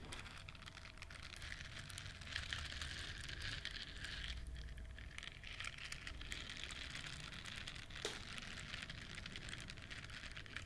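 Long nails scratch across the soft bristles of a hand-sized yellow silicone scrubber shaped like a duck, solid and flexible and held in both hands. A dense, continuous crackling scratch with a bright, hissy texture and a low rumble underneath holds at a steady, quiet level throughout.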